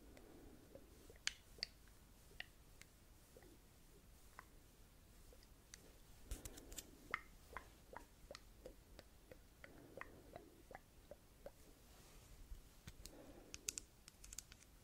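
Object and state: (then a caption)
Glass perfume bottle. A small ribbed glass perfume bottle filled with yellow liquid is held up in one hand and tapped with long dark red nails. Quiet, sharp, bright clicks and ticks with almost no ring come in an irregular series, with soft, low, muffled handling swells every few seconds.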